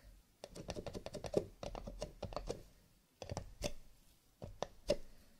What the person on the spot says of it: Tapping on cardboard / paper cups, with a little bit of scratching